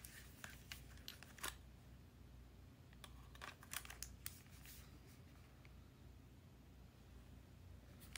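Fingertips hold a small, hollow, closed magenta plastic Nintendo DSi with stickers on the lid and turn it over to show the back. A scattered series of short, bright clicks and taps on the plastic shell sounds over a steady low background hum, and each one dies away almost instantly.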